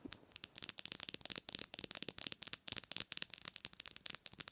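Long nails tap fast on the glass screen of a black smartphone lying screen-up on a pillow. The result is a quick, uneven run of sharp, bright clicks with almost no low end, each one stopping dead with no ring.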